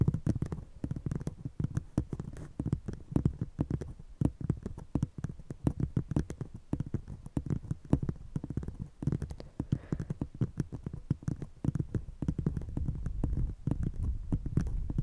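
An empty, hollow brown paper cup set over a fluffy microphone is tapped and scratched with the long painted nails of one hand, while a second cup stays untouched. The result is a rapid, steady stream of short, deep, muffled thumps with soft scratchy texture, heavy in low bass and almost nothing bright on top.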